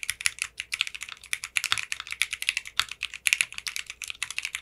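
Fingertips with short manicured nails type steadily on a 60% mechanical keyboard with clear pink polycarbonate keycaps. The keystrokes make a rapid run of short, bright, crisp clacks centered around 2.7 kHz, with almost no low end. Each one dies away instantly.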